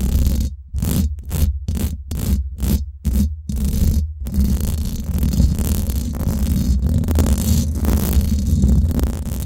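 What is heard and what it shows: Long nails on both hands scratch the hollow domed steel mesh head of a Blue Yeti microphone. Short, choppy scratching bursts with silent gaps come first, then the scratching turns into a continuous, dense rasp. Throughout, a deep low rumble dominates, with a thin hissy top.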